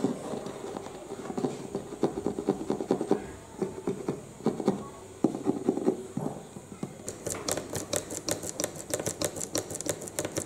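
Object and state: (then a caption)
Cardboard box, hollow. Short nails scratch and tap the green end flap of a medium-size, hollow printed cardboard UPS box, then move to its printed front panel. Soft, papery scratching with a hollow, mid-pitched resonance gives way to quick, crisp taps with bright clicks that die away almost instantly.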